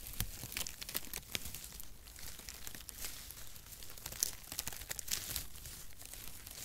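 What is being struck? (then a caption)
Cardboard packaging shreds. Long brown strands of cardboard packaging shreds are held in both hands and rubbed and crinkled with the fingertips close to the mic. The result is a dense, irregular run of bright, dry crinkles and short crackling snaps that die away almost instantly, over a soft low rustle.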